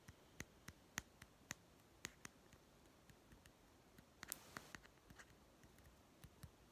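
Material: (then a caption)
Plastic. A small hollow plastic toy pet food tin, held sideways, is tapped on its white end and side with fingertips and short nails. Around seventeen quiet, dry, clicky taps with a bright tone near 1.9 kHz die away almost instantly. A brief soft rustle sounds just past the four-second mark.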